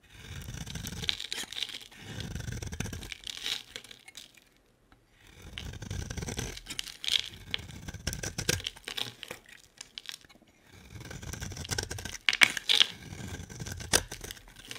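A utility-knife blade scrapes a solid, hand-sized bar of soap held in the hand, with a pink coating and a black-and-white striped interior, and shavings fall away. Bright, crisp scraping and tearing crackles come in quick strokes, separated by short pauses of near silence.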